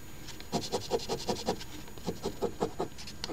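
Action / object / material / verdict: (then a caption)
scrape / paper scratch ticket scratched with a coin edge / paper / none. A coin edge held in the fingers scratches the coating off the letter squares of a thin paper $10 Crossword Deluxe Ontario OLG instant lottery ticket (#3354) lying flat on a table. Thirteen short, rasping scrape strokes come in a quick, uneven rhythm, each with a papery mid-range scratch and a bright hiss on top.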